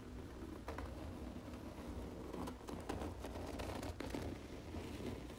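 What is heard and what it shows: Long nails tap and scratch the embossed cover of a large, closed red cloth hardcover book lying flat. Soft, dry taps and scratchy rustles sound quietly over a low background rumble.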